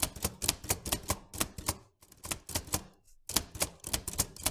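Fingertips of both hands type continuously on the round keys of a vintage metal manual typewriter, seen in close-up. About eighteen sharp, bright key strikes come in quick bursts, each with a low thud underneath and almost no ring. Two brief pauses break the run before the typing picks up again.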